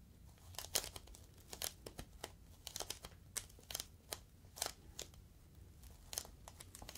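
A clear inflated plastic air-column cushion bag is squeezed and crinkled with fingertips. It makes an irregular run of quiet, bright crinkles and short, sharp crackles with almost no low end, each snap dying away almost instantly.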